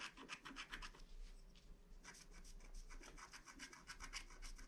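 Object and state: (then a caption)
Wax-coated scratch art card being scratched. A wooden stylus scratches a flat black wax-coated paper scratch art card, filling in a crescent moon with gold foil. Quick, bright, rasping strokes repeat in an uneven rhythm, pause briefly near the middle, then resume over a soft, steady low hum.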